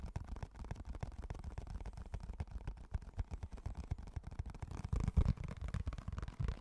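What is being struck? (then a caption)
Small clear plastic food container. A small, empty, hollow, translucent rectangular clear plastic food container is held and turned in both hands close to the mic while fingertips tap and scratch its walls and rim. The result is a steady, quiet stream of dull, hollow knocks and soft rubbing with almost no bright sparkle. The taps grow a little louder and denser toward the end.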